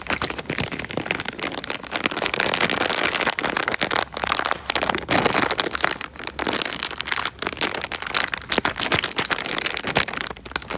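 A small clear plastic bag filled with water is crinkled and squeezed by fingers close to the microphone. The result is dense, bright crinkling and crackling that runs almost continuously, with brief dips between squeezes and very little low end.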